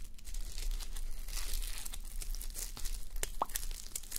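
Fingertips and long nails scratch and brush a fabric sleep mask covered in plastic reversible sequins, resting on a white mannequin head. Dense, bright crinkling and scratching ticks run continuously over a low rumbling bed, with a few sharper clicks near the end.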